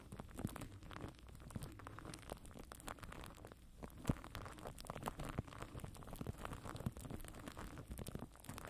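Fingertips and nails scratch and tap clear plastic cling film stretched tight over a black microphone mesh head. The result is a steady, close, dense crinkling and crackling texture with many quick, sharp taps and a low, muffled rumble underneath. One louder snap stands out near the middle.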